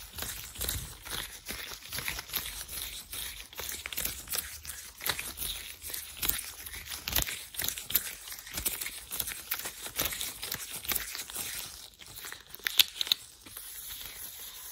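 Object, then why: Thin latex gloves. Thin white latex gloves are worn while the gloved fingers rub together and the palms move close to the mic. The result is a steady stream of bright, crinkly rubbing and tearing-like swishes, with short, dense bursts and little low end. A few sharper squeaks near the end stand out above the rest.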